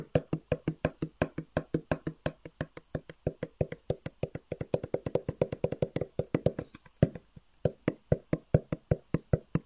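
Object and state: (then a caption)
Cardboard box tapped with fingertips. A long, hollow black cardboard box with white edges is held upright and tapped with the fingertips. About 58 quick, dull, hollow taps follow in a steady rapid rhythm, each with a low, boxy body and almost no ring, with a brief pause near the seventh second before the tapping resumes.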